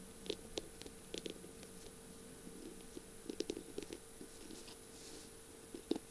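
Long pink-painted nails tap and scratch along a slim, hollow-looking pen barrel covered in small beads and mirror squares, with pink feathers at the top, as it lies on a flower-print surface. Short, sharp clicky taps come in loose clusters near the start, middle and end, with soft scratching between them. A faint steady hum and hiss sit underneath throughout.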